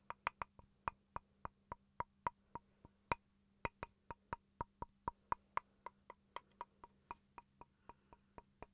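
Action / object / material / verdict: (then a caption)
tap / small wooden chopping board / wood / none. A small, solid wooden chopping board is held up and tapped with fingertips and with a wooden pencil. About 30 quick, dry knocks ring near 960 Hz with a brief bright click and die away almost at once. The taps vary in strength, with a faint low hum underneath.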